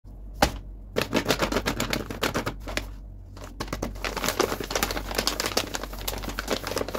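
A flat, hollow Inside Out 2 blind bag of glossy printed paper, roughly A4 size, is rubbed, tapped and crinkled against a table by hands with long white-painted nails, then lifted and flexed. Quick, dry, bright crackles and taps come in dense bursts with a couple of brief pauses, over a faint steady low hum.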